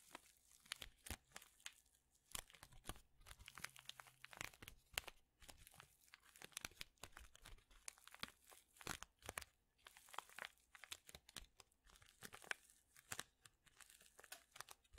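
A small printed paper and foil tea packet is crinkled and rubbed between the fingers. Quiet, dense, sharp crackles and crinkles fire in quick irregular bursts throughout, bright and papery with little low end. Each snap dies away almost instantly.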